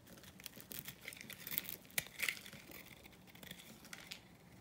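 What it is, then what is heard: Dry bar soap being scraped. A small metal blade scrapes and cuts across the surface of a dry, grey-white rectangular bar of vintage soap held in the palm, and flakes crumble off. Quiet, dry, bright scratching and crinkly crackling comes in irregular bursts, with a few sharper crisp snaps near the middle.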